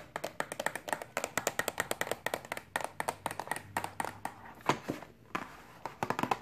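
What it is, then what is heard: Cardboard box tapped with fingernails. Long pink acrylic nails tap rapidly on the top of a flat, rectangular, hollow pink-and-white printed cardboard box for a BH Cosmetics Carnival makeup brush set lying on a table. About 36 quick, dry, clicky taps sound in uneven bursts, each with a bright tick and a hollow midrange knock that dies away almost instantly.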